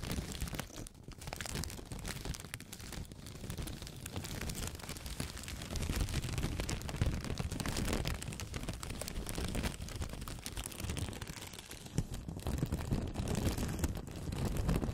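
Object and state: Blotting paper crumpled.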